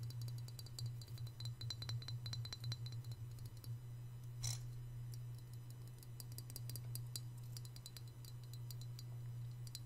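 A small white glazed hollow ceramic piggy bank, held in one hand over a marble surface, is tapped on its glossy body and ears by the fingertips and short nails of the other hand. Rapid, clustered light clicks and bright clinks come over a steady low hum, with one brief louder scrape-like burst near the middle.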